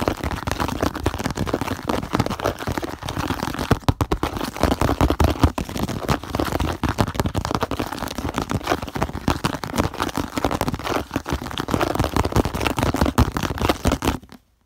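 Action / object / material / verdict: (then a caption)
tap / plastic food container lid / plastic / none. Fingertips and nails rapidly tap and scratch the hollow surface of a purple plastic food container lid lying on a table. The result is a dense, continuous stream of quick, crackly taps and scrapes with a hollow, low-heavy tone, ending abruptly just before the clip stops.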